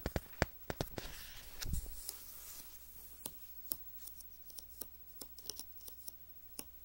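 Fingertips and nails tap and scratch the white glossy pages of a magazine lying open flat, working near the spine. Many sharp, dry clicks with almost no ring are spread irregularly across the clip, with a brief rough rustling scrape early on over a faint steady low hum.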